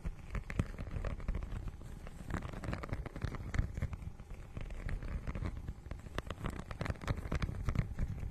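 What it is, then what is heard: Textured plastic book cover being scratched. Long nails scratch across the holographic, scale-textured plastic cover of a notebook-sized book. The result is a dense, continuous run of short scratchy crackles and soft taps, muffled and weighted toward the low end, with a few sharper peaks standing out.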